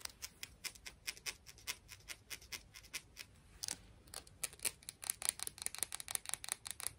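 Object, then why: Small clam shell. A tiny clam shell is tapped and scratched, producing a rapid string of crisp, bright clicks with almost no low end and no ring. A softer, scratchier stretch falls near the middle before the taps return faster and denser toward the end.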